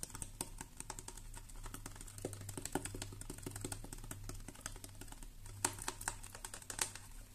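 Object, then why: Plastic pump bottle. Long nails rapidly tap and scratch the label of a medium-size red plastic hair-product pump bottle that appears filled. The result is a dense stream of quick, bright, clicky ticks with short scraping strokes over a steady low hum, and a few sharper taps stand out near the end.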